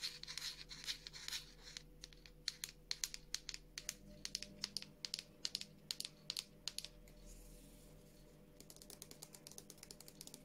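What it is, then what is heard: Plastic squeeze tube tapped with nails. Long nails tap and scratch a medium, soft plastic squeeze tube of Revolution Beauty Skincare body cleanser with a frosted plastic cap, apparently full. A dense, bright scratching gives way to many sharp, dry taps at an uneven pace, with a brief quieter scratching stretch before a final run of lighter, quicker taps. A faint steady low hum runs underneath.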